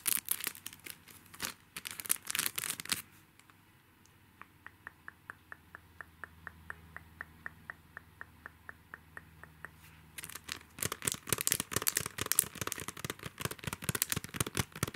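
A small, flat, sumo-themed paper sticky-note pad, a solid stack of paper sealed in a clear plastic cellophane sleeve, is held and squeezed by fingertips that crinkle and rub the wrapper. Dense, bright crackling fills the first three seconds. A quieter stretch follows with a steady series of light, evenly spaced ticks, then loud crinkling returns for the final five seconds.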